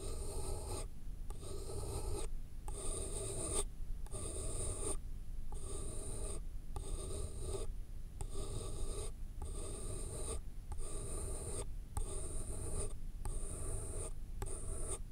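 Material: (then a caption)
Paper. A pen writes and scratches across the top sheet of a thick, solid stack of white paper sheets resting on a foam block. Bursts of dry, scratchy strokes repeat in a steady rhythm, separated by brief pauses, with a bright, hissy edge over a low, continuous rumble.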